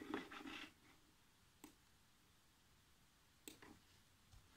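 Fingertips with short nails type fast across the black plastic chiclet keyboard of a laptop, giving a dense burst of light plastic taps at the start. Scattered sharp, bright clicks follow after quiet pauses.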